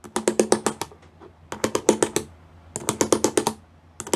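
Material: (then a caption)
Plastic. Fingertips and nails of both hands tap rapidly on a grey plastic sheet covered in pyramid studs. About 21 crisp, bright clicks come in three quick bursts separated by short pauses, each tap dry and ending almost instantly.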